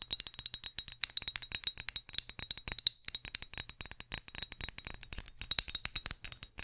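Long acrylic nails rapidly tap and scratch a small, hollow, clear glass perfume bottle with a silver metal cap, held close to the microphone. The result is a dense run of quick, bright glassy clicks and clinks with a high ring that dies away almost instantly, over a soft scratching texture and very little low end.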